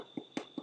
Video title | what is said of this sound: LIVE EVENT MAY 23RD (Memorial Day) HOAGIE ROLLS | It should sound hollow when you tap on the bottom.